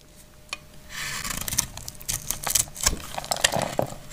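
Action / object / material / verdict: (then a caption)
scrape / glycerin soap bar cut with a metal blade / soap / none. A hand-sized, dried and frozen purple glycerin soap bar is held in one hand and cut and scraped with a metal utility knife blade, so flakes fall off. After a quiet start and a single sharp click, a bright, dry scraping hiss runs on, broken by many crisp little snaps and crackles as the blade bites into the hard soap.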